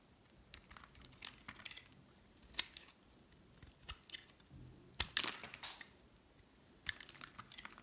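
A hard, solid cream bar soap (Dove or La'Diva) is held in the hand and shaved with a metal utility knife blade. Short, bright scraping and scratching cuts come in irregular bursts between quiet pauses. The strongest, crispest scrapes arrive around the five-second mark, and each cut ends almost instantly.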